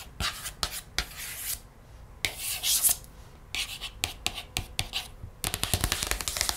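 A large open hardcover children's picture book lies on a wooden table as a page is turned, then long red-painted nails and fingertips trace and scratch across the paper page. The sound is dry, bright scratching and rubbing, with brief sharp strokes and quick nail taps that grow denser toward the end.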